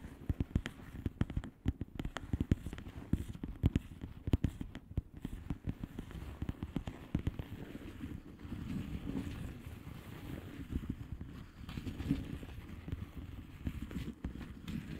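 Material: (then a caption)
Plastic. Long manicured nails of both hands tap rapidly across a flat plastic bubble wrap mailer with hollow air bubbles, making dense, dry, short taps with a dull, low-heavy body. The tapping is sharp and busy for the first half, then softens into quieter patters and light crinkling with occasional louder taps.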